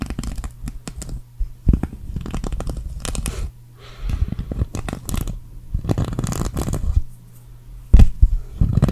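Long acrylic nails scratch and flick across the plastic sequins of a green sequin cactus patch, shown close up. Dense bursts of scratchy, crinkling clicks come over a steady low hum, broken by short quieter pauses. A few sharp, louder flicks stand out near the end.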